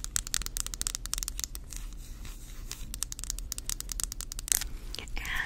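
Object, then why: Wooden back of a round hairbrush. Long acrylic nails rapidly scratch and tap the solid, flat light-wood back of a hand-sized round brush printed with a brand name, held with the back facing the mic. A dense run of crisp, bright scratches and clicks is heard over a low steady hum, with a louder tap near the end.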